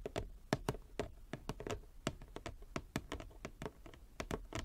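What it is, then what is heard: Wooden chess board. Long nails tap rapidly and irregularly across a large inlaid wooden chess board, possibly with some light scratching. Each tap is short, dry and woody with a low body and almost no ring, set against a quiet, close background.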